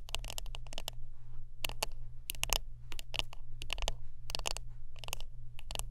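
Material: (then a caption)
Wood. Close-up tapping and scratching on a wooden brush produces quick bursts of dry, bright clicks that come in short clusters with brief pauses between them. Each tap dies away almost at once, with a faint scratchy texture between taps. A steady low hum runs underneath throughout.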